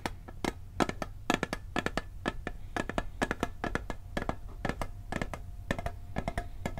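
A round, blue printed steel cookie tin, hollow with its lid on, is held in one hand while the lid is tapped and scratched with fingertips and nails. Quick, irregular dry taps click over the metal with very short ring, a faint tonal hint and a steady low hum underneath.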